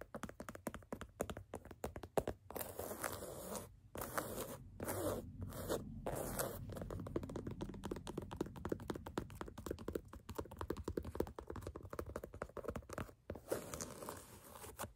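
Fingertips and nails scratch and rub along the black canvas side of an empty low-top sneaker. Quick, dry scratching strokes come in dense bursts, broken by a few longer stretches of steady rubbing, with a soft, muffled texture.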